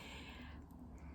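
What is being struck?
Nothing is struck.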